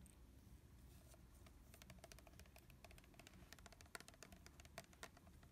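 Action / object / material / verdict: tap / plastic spray bottle / plastic / none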